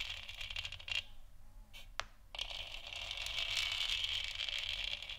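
Long nails on both hands scratch and tap the surface of a lit, hollow plastic moon lamp sphere. The result is a steady, bright, crackly scratching with quick light taps mixed in. The sound briefly thins out near the second mark, followed by a sharp tap and then denser scratching that builds toward the end.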